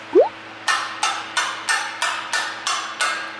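Steel intake valves from a BMW 520d engine that suffered a broken timing chain are tapped one after another to check for slight bends that can't be seen by eye. After a brief rising chirp, eight short, dry taps ring out at an even pace. Instead of a clear ring, the taps sound dull, marking a slightly bent valve; three intake valves appear bent.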